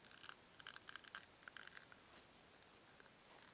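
Two small solid white foam cubes are twisted and rubbed against each other by fingertips with long nails. A quick run of soft, bright squeaks and crackly rubs is heard during the first two seconds. The sound then fades to a faint, steady high hiss.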